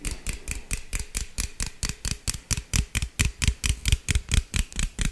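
A hollow green aluminum beverage can, held in the hand, is tapped and scratched with fingernails in a quick, steady run of 23 short hits. Each hit is a brief, dry tick with a deep low thump and a bright, crisp scratchy edge, fading almost instantly, and the taps grow slightly louder toward the end.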